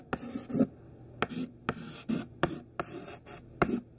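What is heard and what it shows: Thin white classroom chalk, held mostly hidden in the fist, writes capital letters on a black chalkboard. Short, sharp taps where the chalk meets the board mark the start of each stroke, followed by dry, bright scratching strokes with a low, faint body.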